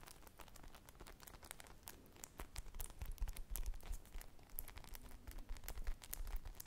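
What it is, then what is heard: Foam squishy toy scratched with nails. Long painted nails scratch and squish a small teal and white polyurethane foam ice cream squishy toy with two sticks, made of solid soft foam. The sound is a dense, irregular run of quick dry crackling scratches and soft crinkly taps, bright and crisp, with faint low muffled thumps underneath as the foam is pressed.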